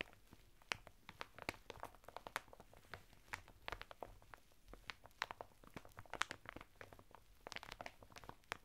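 Fingertips scratch and rub the textured surface of a flat bath mitt of coarse woven natural fibre, sealed in a thin printed plastic packet lying sideways on a table. Quiet, dry plastic crinkling and scratchy rasping come in irregular bursts, with many sharp, bright crackles that stop instantly.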